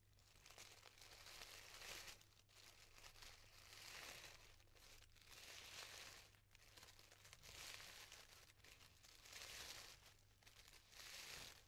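Fingertips and nails pull apart the petals of a yellow tissue paper flower, making soft, bright crinkling and rustling in repeated swells about every two seconds. A faint steady low hum runs underneath throughout.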